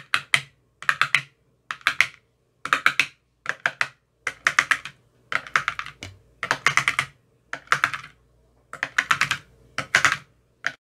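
An empty translucent frosted plastic ice cube tray with 15 hollow compartments is tapped inside its cells with a thin metal rod that has a white rounded tip. Quick clusters of rapid, crisp clicking taps sound bright and hollow, with almost no low end. Each tap dies away almost instantly, leaving short silences between bursts.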